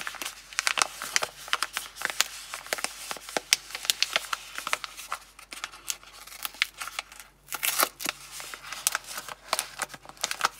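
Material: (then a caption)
Cardboard. A small printed Palmolive cardboard box holding a bar of soap is held in both hands while long glossy nails tap, scratch and handle it. The result is a quick, dense run of sharp, dry, bright clicks and scratchy rustles with almost no low end and no ring, heard up close in a small room.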